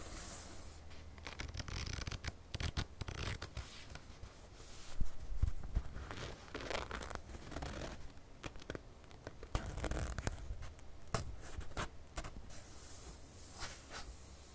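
Fingertips and nails scratch the pages of an open Cosac Naify paperback of "Os Trabalhadores do Mar," one page matte and the other dark and printed, held in both hands. Soft, dry, irregular scratching and rustling strokes come with occasional sharper taps over a steady low hum, staying quiet throughout.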